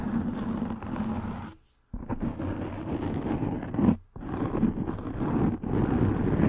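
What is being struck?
Foam microphone windscreen.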